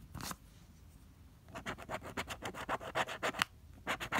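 A pink plastic scraper scrapes the coating off a flat coated cardstock lottery ticket, no. 048, held flat by fingers. A brief scratch opens the clip, then after a quiet pause comes a quick run of about fourteen short, dry, bright scraping strokes with a pause near the end before the last few.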